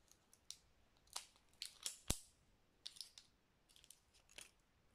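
Long nails tap and click on the brown plastic lid and the side of a small cylindrical spice jar filled with ground spice. About a dozen quiet, sharp, bright clicks land at uneven intervals, each dying away almost at once.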